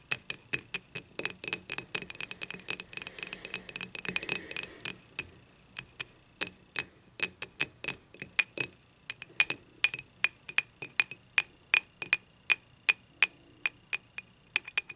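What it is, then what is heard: Glass beer mug. Long matte nails tap and scratch the handle of a clear glass beer mug lying on its side. A fast, dense flurry of bright clinks with a scratchy rasp gives way to steadier, evenly spaced taps. Each tap is a short, sharp glassy click with a faint ring near 2.5 kHz that dies almost instantly.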